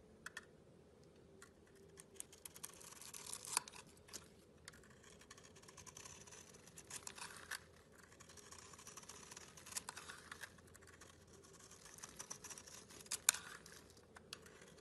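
A metal utility blade scrapes and shaves the surface of a hand-sized solid blue bar of soap with a white core, held in a hand with long red nails. It makes quiet, dry, bright scratching strokes with a steady, faint hiss underneath. A few sharper crisp clicks stand out, near 3.6 and 13.3 seconds.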